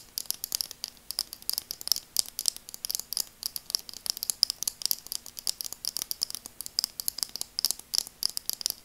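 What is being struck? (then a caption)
Plastic eyeglasses tapped with fingernails. Long nails tap rapidly on the frame and lenses of burgundy translucent plastic glasses, giving dozens of dry, bright, clicky ticks in an uneven rattling rhythm. Each tap stops instantly with no ring, over a faint steady low hum.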